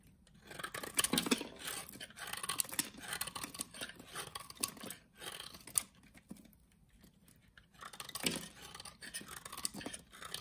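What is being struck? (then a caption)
Bar of soap cut with a utility knife. A utility knife shaves and cuts pieces from the end of a solid orange soap bar. The blade makes dry, crisp scraping and crunching strokes in bursts, mostly bright and high with little low end. A quieter stretch sits around the middle before the cutting picks up again.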